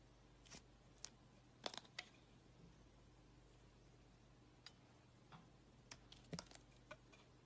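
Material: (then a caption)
Soap. A blade slices a thin layer off a solid lilac soap bar with a gold-coated rim, held in a hand with painted nails. Sparse, short, bright clicks and scrapes stand out over a quiet, steady low hum.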